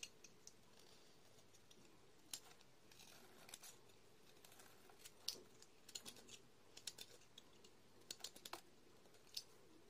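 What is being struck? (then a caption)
Bar of soap scraped with a metal blade. A metal utility-knife blade scrapes and shaves the surface of a solid white soap bar with pink and blue stripes, held in fingers with long red-painted nails, producing powdery flakes. Quiet, crisp, bright scratching clicks and short scrapes come in irregular bursts over a faint steady hiss, each one dying away almost instantly.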